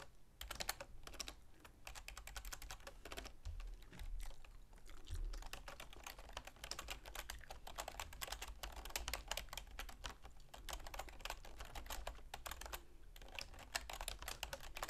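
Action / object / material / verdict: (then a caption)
tap / plastic computer keyboard / plastic / none. Long manicured fingernails and fingertips rapidly tap the keys of a full-size black plastic keyboard with a silver plastic frame resting on a wooden desk. The result is a dense, continuous stream of short, bright plastic clicks and clacks over a steady low hum.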